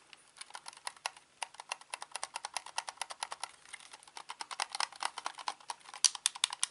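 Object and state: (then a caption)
Plastic game controller. A hollow grey-black plastic Xbox controller is held in both hands while its buttons and sticks are clicked with thumbs and fingertips. About 35 quick, dry, bright plastic clicks come in a rapid, uneven stream with no low rumble, growing a little louder toward the end.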